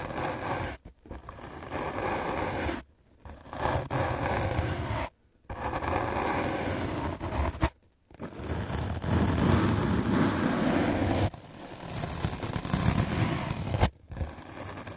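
A white rectangular magic eraser block of solid melamine foam, held in the hand, is scrubbed aggressively with a medium black-bristle paint brush. The result is a fast, dense, scratchy scraping rasp with a heavy low-end rumble, broken by several brief pauses between bursts of brushing.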